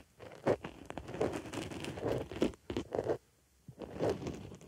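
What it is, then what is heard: Foam makeup sponge. A wooden stick digs and scratches in the hole of a white foam makeup sponge resting on a microphone ear. The result is a close, crunchy, crinkling scrape in uneven bursts with brief pauses, mostly low-mid with little bright content.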